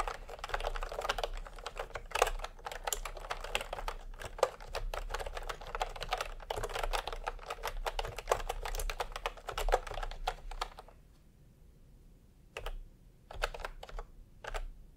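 Fingertips tap away at a full-size plastic typewriter-style computer keyboard with round retro keycaps in peach and cream, resting on a white cloth. A rapid, steady run of light, clicky keystrokes continues for about eleven seconds. A short pause follows, then a few scattered final taps.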